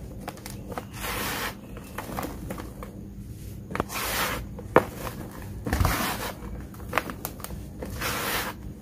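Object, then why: Loose red dirt powder in a plastic tub. Bare hands scoop, squeeze and rub loose, dry, fine red dirt powder in a large blue plastic tub, then pour it back through the fingers. The result is a series of soft, bright hissing pours and rustles, broken by short, dry crackles and thuds.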